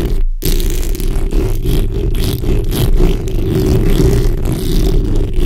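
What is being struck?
Steel mesh microphone grille.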